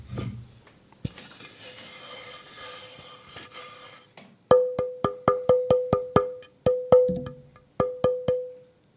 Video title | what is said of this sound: PodTaf 🎧 Ep. 13 Luthier avec Sylvain Tournaire | ce bois-là réagit à l'impact de manière plus sèche et il est plus clair aussi